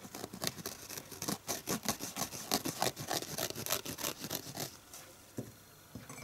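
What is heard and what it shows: Fingernails scratch across the green scouring pad side of a red foam kitchen sponge held in one hand. The result is a rapid, uneven run of short, bright, rough scratching bursts for about five seconds. It then falls quieter, with a few isolated scrapes at the end.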